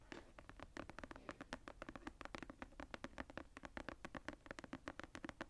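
Long painted nails scratch and tap across the tooled brown leather cover of a medium hardcover journal, its floral relief embossed, as it lies closed on a table. A quiet, rapid run of short, dry taps and scratchy strokes follows, each dying away almost at once with a soft low-mid body.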